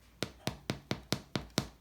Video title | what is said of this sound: RYE BREAD RECIPE: New York Deli Style Rye | The dog's gonna start barking, thinking someone's knocking on the door.